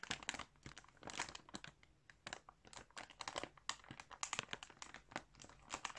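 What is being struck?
Clear plastic bag full of yarn balls.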